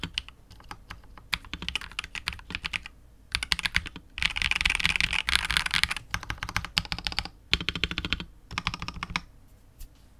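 A KBD67 Lite R2 65% mechanical keyboard with KTT Wine Red switches, PBT keycaps and a hollow clear polycarbonate case is typed on with the fingertips, slowing to one hand at the end. Quick bursts of bright, clacky keystrokes with a faint low body come in runs separated by short pauses, each click dying away almost instantly. The densest, loudest flurry falls in the middle before the typing thins out.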